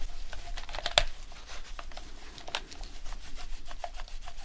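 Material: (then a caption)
Plastic. Gloved fingertips rub the touchpad and buttons of a dirty, white, hand-sized plastic PS4 controller with a hollow shell, using a microfiber cloth. Soft, steady swishing and rubbing is broken by a few brief, bright clicks, the sharpest coming early. A faint midrange tone near 690 Hz sits over a low background rumble.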